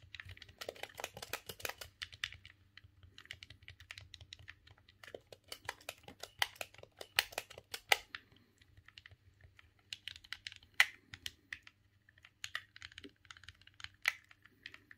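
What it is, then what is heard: Plastic game controller buttons. A silver, hollow plastic GameCube controller is held in both hands while the thumbs click its buttons. The result is quick, irregular bursts of short, bright plastic clicks with almost no ring, separated by brief pauses over a faint low hum.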